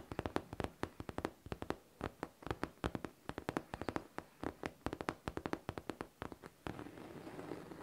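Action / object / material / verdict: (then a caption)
tap / faux leather backpack panel / faux leather / none. Long teal nails tap quickly on the top panel of a pink faux leather backpack near the zipper, producing sharp, dry clicks in an uneven rhythm. In the final second the nails scratch the panel, giving a continuous rough scraping sound.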